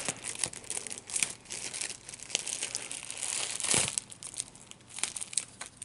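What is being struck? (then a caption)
Plastic bubble wrap. A small piece of clear plastic large-bubble wrap, its hollow air-filled bubbles squeezed and popped between the fingertips and thumbs of both hands. Bright, dry crinkling runs throughout, broken by sharp, quick pops that die away almost instantly. A louder burst of crackling comes near the middle.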